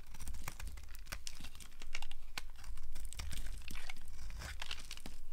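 A small blade scrapes shavings off a dry, solid pink soap bar with an embossed logo held in the hand, with the bar occasionally touched by long nails. Irregular, crisp crackling and tearing scrapes sound close-up, with bright clicks over a steady low rumble.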